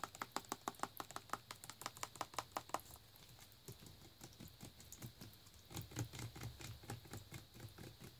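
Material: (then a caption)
Plastic. Fingernails tap a full plastic Naked juice bottle as it is rotated in hand, striking the front label and the nutrition-facts label. A quick, evenly spaced run of sharp, bright clicks gives way to softer, denser tapping with a low rumble underneath.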